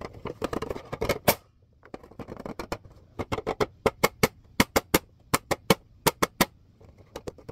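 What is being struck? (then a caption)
Plastic clipboard. Fingertips and nails tap on the front surface of a red plastic clipboard, giving quick, dry clicks with almost no ring. The taps come as fast, dense flurries at first, then after a short pause settle into a steadier run of sharper, brighter, well-spaced clicks.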